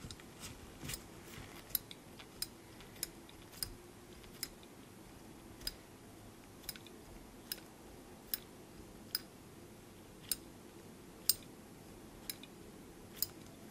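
A small black steel binder clip with silver wire handles is held in a black-gloved hand, and its handles are flipped and clicked against the clip body. The result is a steady series of sharp, bright metallic clicks that stop almost instantly, spaced irregularly over a quiet, low background hiss.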